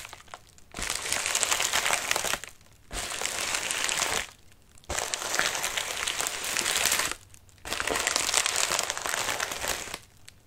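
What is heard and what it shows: Fingertips and nails scratch the crinkly, wrinkled surface of a medium white padded mailer resting on a lap. Four long bursts of dense, bright crinkling and scratching are heard, separated by short quiet pauses, with almost no low end.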